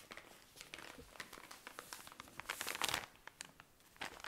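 A tall cylinder of cotton pads in thin plastic wrapping is squeezed and scratched with long nails, producing a dense run of bright, crisp crinkles and short scratchy ticks. The crackling swells into a louder, sustained crumple in the middle before returning to scattered sharp clicks.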